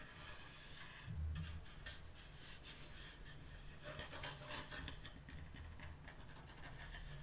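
Fingertips and long nails scratch and tap along the lettered surface and edges of a flat, solid, varnished wooden door sign resting on a teal cloth. Soft, continuous bright rasping and rubbing is heard over a low, dull rumble, with light taps mixed in and a slightly stronger thump near the first second.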